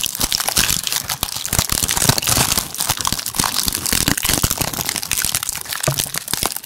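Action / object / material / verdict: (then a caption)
tap / woven basket / unknown / none. A medium pink woven basket with an orange handle, hollow and empty, is held up and tapped and scratched with the fingertips and nails on its woven strips. Quick, dense, dry crinkling taps and scratches run continuously, bright and crackly, with each hit dying away almost at once.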